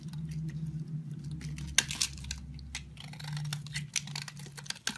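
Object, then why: Bar of soap scraped with a knife blade. A solid cream-white soap bar held in hand has its edges scraped and shaved with a green-handled utility knife blade. Dry, bright scratching and crisp shaving strokes come in quick bursts, with a few sharper clicks of the blade, over a steady low hum.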